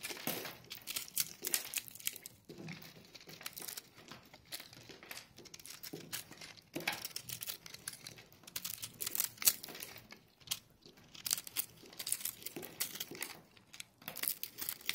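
A metal knife blade scrapes and slices through a hand-sized, solid, multicolored block of crumbly dried crushed soap while fingertips with long painted nails squeeze it, breaking off dry crumbs. The result is a steady run of dense, bright, crunchy crinkling and crackling bursts with very little low end, each snapping off quickly.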